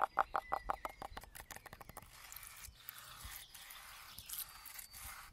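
Fingertips and nails scratch along the bare wood and rough bark edge of a large, solid standing pine trunk where a strip of wood has been stripped away. It opens with a quick run of short, dry, mid-pitched taps that fade over about two seconds. A steady, bright, breathy scraping with occasional swells follows until the end.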